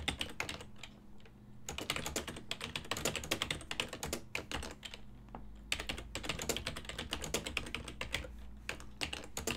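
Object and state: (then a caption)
Plastic computer keyboard being typed on. A full-size black and silver ergonomic plastic desktop keyboard, its keys set over a hollow body, is typed on continuously with the fingertips of both hands while the mouse sits idle. Bursts of quick, bright clicking keystrokes with very short decay run throughout, broken by brief pauses, over a faint low hum.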